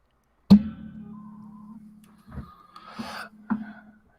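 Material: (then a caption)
Steel. A metal spring on a microphone stand is tapped three times, giving a twanging, vibrating tone around 200 Hz. The first tap is the strongest and rings with a low, buzzing hum for about a second and a half. The later, softer taps bring short bursts of brighter rattle before settling back into the same hum.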